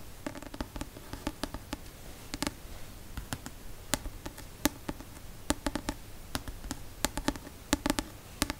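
The card cover of a paperback novel, held upright, is tapped with the fingertips and nails in a quick, irregular series of short, dry clicks. Each tap is bright with a faint hollow tone around 266 Hz and dies away almost instantly over a quiet background.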